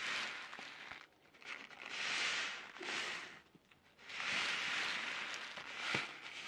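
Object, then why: Sealed plastic-film snack packet. A sealed orange plastic-film Taiyo snack packet is crinkled, flexed and shaken by hand just above the mic. It makes bright, crackling rustles that swell and fade in long bursts, separated by brief quieter pauses, with a few sharper crackles poking through.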